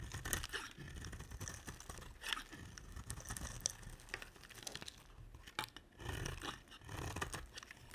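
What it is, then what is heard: Dry bar soap being shaved. A utility knife blade shaves the edge of a solid cream dry soap bar held in long-nailed hands. Quiet, crisp scraping and crumbly crunches repeat in quick strokes, with bright, dry detail and a soft low rumble underneath. Each cut stops dead with no ring.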